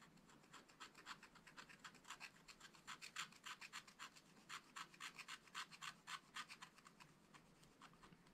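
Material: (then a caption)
Coated card. A wooden scratch stylus scratches lines into the thin black coating of a spiral-bound scratch-art pad, a flat, solid card over a colored metallic layer, lying on a table. Dozens of short, dry, bright scraping strokes come in quick, uneven succession, about three to four per second, over a faint hiss. Each stroke stops dead with no ring.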